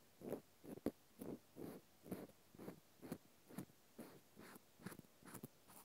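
A cotton swab scratches the end and side of a small, solid natural cork stopper held sideways in the fingers. Soft, dry scratching strokes repeat a little over twice per second in a quiet, uneven rhythm, with a few brief sharp clicks and faint bright hiss above a muffled low-mid body.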